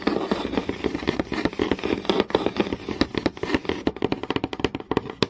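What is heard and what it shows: Long nails tap quickly and scratch across a flat, solid wooden board with visible grain. Rapid, irregular dry clicks with no ring sit over a steady scratchy rustle, and the taps grow sharper and more spaced toward the end.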